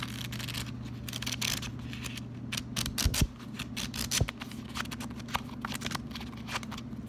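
Fingers flip the pages of a small pink paper sticky note pad, a solid stack, then scratch and tap its top sheet with fingertips and nails. Quick, bright papery flicks and crackly scratches come in rapid bursts over a steady low hum, with a few sharper taps standing out near the middle.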